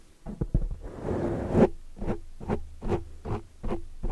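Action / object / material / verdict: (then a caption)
scrape / foam microphone windscreen / foam / none. Long dark nails scratch and grip a large black foam windscreen over a microphone. A dense, muffled rustle builds in the first half, then gives way to a steady run of short, low, thumping scrapes.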